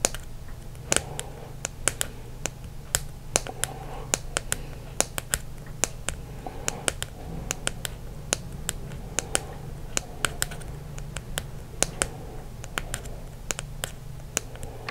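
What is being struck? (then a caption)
Plastic dry erase marker. Fingertips and nails tap and scratch the plastic barrel of a small, hollow, green and white Expo dry erase marker with its cap on, held between the fingers. Dozens of sharp, dry clicking taps with almost no ring are spread irregularly across the clip, with soft scratching between them. A steady low hum runs underneath.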